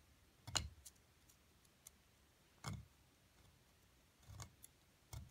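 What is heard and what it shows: A solid plaster dig block from an Egyptian mummy excavation kit is chipped and scraped with a metal seafood pick held in the left hand, while the right hand with long nails braces the block. Six quiet, irregularly spaced hits sound as sharp, bright clicks and short scrapes, each with a soft low thump. Each dies away almost at once over near silence.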